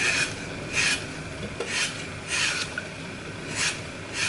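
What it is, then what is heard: Floral foam block being crushed. A solid green floral foam block coated in glitter with a Mickey picture is held in the hand while fingertips and thumb crush and break away its edges, crumbling the foam onto a pile of fragments. Repeated bright, dry, crunchy rasping bursts rise and fade over a soft hiss, with little low end.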